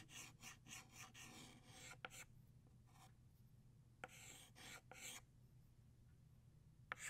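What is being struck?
Chalk stick on chalkboard.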